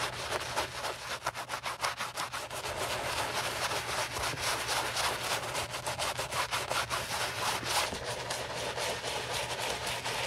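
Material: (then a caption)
Leather. A wooden-handled bristle brush, held in gloved hands, scrubs back and forth over a soap-foamed white leather Gucci Ace low-top sneaker resting on a towel during its restoration. The result is a continuous, bright, hissing bristle scrub with a steady rhythmic pulse of strokes at about two per second over a faint low hum.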